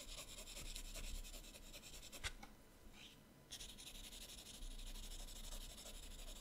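A teal colored pencil shades the right page of an open paper sketchbook with rapid back-and-forth strokes, making a dense, bright scratchy rubbing. A sharp tick sounds just past two seconds, and the strokes drop to a faint hush for about a second before the steady rubbing resumes to the end.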